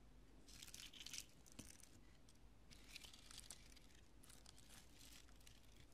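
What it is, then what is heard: Polyurethane spray foam pieces. Long nails and fingertips press into and scratch many small, light, porous, solid chunks of cured pale-yellow polyurethane expanding spray foam spread on purple cloth. This produces bright, dry crunching and crackling bursts over a steady low background rumble.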